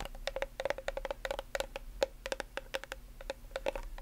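Long nails tap and scratch a translucent white plastic nail polish remover bottle with a blue cap and label, partly filled with liquid. Quick, dry clicks and short scrapes come in an uneven, rapid stream, each dying away almost instantly, over a faint steady tone around 550 Hz and a low background hum.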